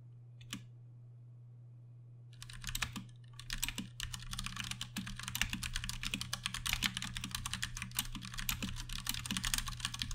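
A Ducky One 2 Mini 60% mechanical keyboard with Cherry MX Brown switches and plastic keycaps is typed on with steady fingertips. A single click comes first, then after a short pause a dense run of quick, bright, clacky keystrokes fills the rest of the clip over a constant low hum.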